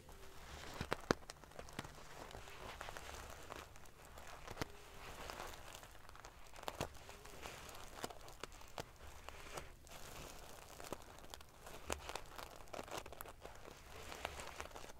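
Long dark-painted fingernails and fingertips scratch and ruffle a decorative cushion covered in rows of small silver metal paillettes sewn onto fabric over a soft filled body. The result is a quiet, steady stream of dry, crinkly scratching, broken by many sharp, bright clicks and ticks as the metal pieces flip. A faint low hum sits underneath throughout.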